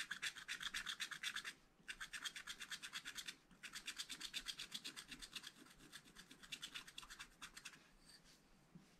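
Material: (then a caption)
Coated paper. A wooden stylus rubs and scratches the coating off a black scratch-art paper page in a spiral pad. Quick, rhythmic back-and-forth strokes make a bright, dry rasping, in three bursts separated by brief pauses near 1.6 and 3.5 seconds. The strokes grow softer toward the end.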